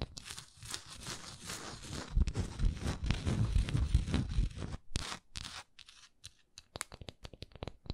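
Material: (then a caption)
Wax. Long nails scratch across the smooth base and textured sides of a solid wax pillar candle, held tilted and then upright. The first five seconds are a dense, raspy scratching with a low, rumbling body, then the sound thins into sparse, sharp clicks and short scrapes with quiet gaps between them.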